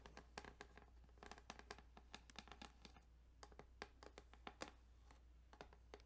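Fingertips tap and scratch quickly along the ridges of a plastic Tetris Game Boy cartridge. The result is a quiet run of short, dry, bright clicks and scrapes over a steady low hum.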